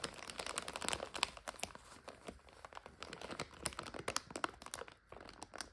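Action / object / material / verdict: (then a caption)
scrape / plastic food bag / plastic / none. Fingertips and long nails crinkle and squeeze the back of a full plastic egg noodle bag with a white label, held in the hands. A quick, dense run of sharp, bright crackles and crunches comes through with no ring after each one, over a quiet, thin background.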